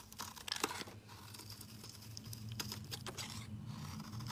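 A metal utility-knife blade shaves flakes off a large, rectangular, solid, pale yellow citrus-lime soap bar held in the hand. The result is a run of quiet, crisp, crackly scrapes with bright edges over a faint steady low hum.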